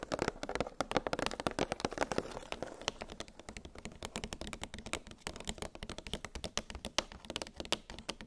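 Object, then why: Plastic blister package holding metal cookie cutters. Long pink nails tap rapidly on a clear, hollow plastic clamshell blister package holding nested metal gingerbread cookie cutters on a cardboard backing. The taps are short, dry plastic clicks with a hollow mid-pitched body and a bright edge, dying away almost instantly. The tapping is louder and denser for the first two seconds, then settles into a softer, steady patter.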